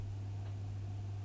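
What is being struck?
Nothing is struck.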